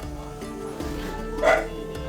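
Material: Nothing is struck.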